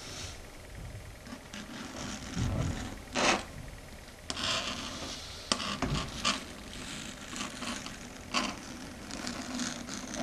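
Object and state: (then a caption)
Chalkboard under fingernails. Long red stiletto nail tips tap and scrape across a flat, solid, dark grey chalkboard surface. Soft, bright scratchy rubbing runs throughout, broken by sharper clicks and louder raspy bursts with almost no ring.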